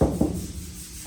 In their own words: And when you look at this car, what you can't see but you can hear is metal.